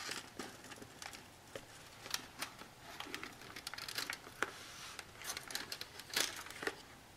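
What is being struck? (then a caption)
Cardboard box holding a roll of aluminium foil. Long natural nails tap and scratch along the top edge and front panel of a long blue cardboard Handi-foil box, held horizontally and hollow with a foil roll inside. A quick, uneven run of light, dry taps mixes with crinkly, papery scratching, bright and thin with almost no low end. Each hit dies away almost instantly, and the whole sound stays quiet.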